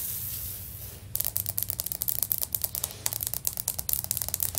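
Long nails scratch across a solid, stone-pattern ceramic floor tile with clawed fingers, making a steady bright hiss for about a second. They then switch to a rapid, uneven series of sharp, crisp clicking taps on the tile, each dying away almost instantly, over a faint low hum.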